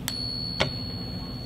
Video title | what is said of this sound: How To Spot Fake Silver Coins & Counterfeit Coins Quick Tips by Sahara Coins | it's just it's a deep sustaining ring